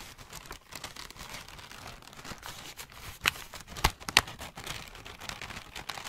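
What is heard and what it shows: A loose, hollow ball of thin greyish-brown packing paper is squeezed and crumpled between both hands with the fingertips. It gives a steady, bright, dry crinkling, broken by three sharper, louder crackles near the middle. Each crackle stops almost instantly, with no ring after it.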